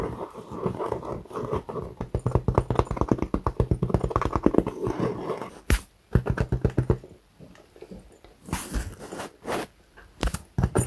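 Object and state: Faux leather clutch bag being scratched.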